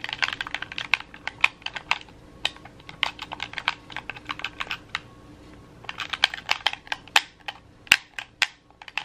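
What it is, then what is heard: Plastic game controller buttons. Thumbs quickly tap and press the D-pad and buttons of a red hollow plastic gamepad held close. Dozens of short, sharp, bright plastic clicks come in rapid bursts with a brief pause midway, each dying away almost instantly.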